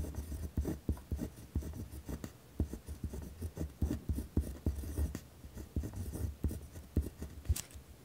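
A ballpoint pen scratches firmly across a torn spiral notebook page resting on a wooden desk while writing. The sound is a dry, rough scratching made of quick, separate strokes with brief gaps between them. It carries a low thump from the desk and very little bright content.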